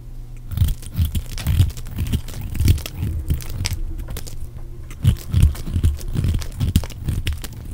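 A metal blade scrapes and cuts shavings from the edge of a solid, pale green oval bar of dry soap with an embossed logo, held in the hand. It makes a steady run of short, dull, crunchy scrapes, deep and muffled, with faint brighter crackles over the top and brief pauses between strokes.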